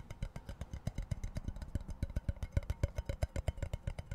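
Fingertips and nails rapidly tap and scratch the plastic lid and tube of a tall, empty-looking cardboard Pringles chip can with a metal base. About thirty quick, short, hollow thuds follow in a loose, uneven rhythm. The taps are deep and dull, with a faint scratchy texture and almost no ring.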